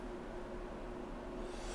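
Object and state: Nothing is struck.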